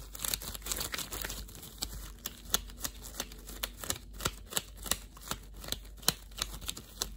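Thin, translucent clear plastic disposable gloves worn on both hands crinkle and rustle as the fingers flex and rub against each other. Short, bright crackles repeat in a steady run over a soft, constant low hum.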